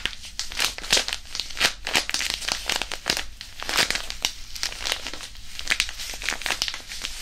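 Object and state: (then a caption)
Disposable hand warmer, iron powder pouch. A small white disposable hand warmer, a non-woven fabric pouch filled with iron powder, is crumpled and kneaded with the fingers right beside the microphone. It makes a dense, continuous run of bright, crinkly rustling and gritty crackles that swell and fade with each squeeze, with little low end.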